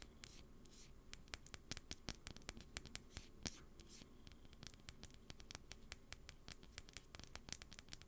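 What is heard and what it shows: Long painted acrylic nails tap and scratch a small rectangular clear glass perfume bottle with a dark cap and white label, held in the hands close to the mic. A quick, irregular series of sharp, bright clicks with a faint high glassy ring is heard, with soft scratching between the taps over a quiet low background.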